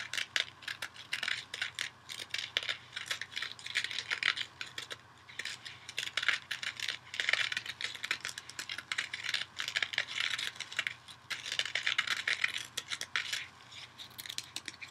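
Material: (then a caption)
Synthetic fibre. Fingernails scratch the green abrasive scouring-pad side of a small kitchen sponge held in the other hand. The result is a dense, bright, dry scratching made of rapid crackly ticks that come in uneven bursts, with almost nothing in the low end.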